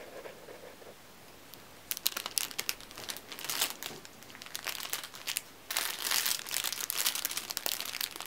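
Fingertips grip, bend and crinkle a thin, clear, crinkly plastic cellophane sleeve holding a red-and-black striped neck tie, with a second packaged tie lying untouched nearby. After a quiet, faint rustle, bright, sharp crackles come in irregular bursts. They then swell into a dense, continuous crinkling in the last few seconds.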